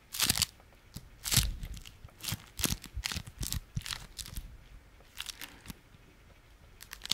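A small folded beeswax-coated fabric food wrap is held in one hand and squeezed and crunched with the fingers. It gives a run of sharp, bright crinkling and crackling bursts with short pauses between them, each dying away quickly, over faint low rumble.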